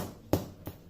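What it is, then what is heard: Baked-through bread roll (hollow). A freshly baked bread roll, just taken out of the oven, is tapped twice on its underside. Each tap gives a short, dull, low thud that fades almost at once. The roll sounds hollow, which means it is cooked through.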